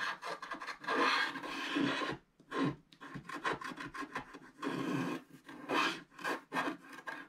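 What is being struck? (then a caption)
Wax-coated scratch art card scratched with a wooden stylus. A wooden stylus scratches along the right edge of a solid black wax-coated scratch art card lying flat. Short, dry rasping strokes come in irregular bursts, with a papery scrape that stretches into the bright highs. Brief pauses separate the strokes.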